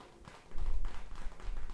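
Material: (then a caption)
Plastic. Long red-painted nails tap and press a palm-sized plastic gel bead ice pack, a clear, soft, squishy, flexible pouch partly filled with teal gel beads. After a faint start, a run of soft, muffled, low thuds and squishes begins at about half a second. The taps are dull and short, with little brightness.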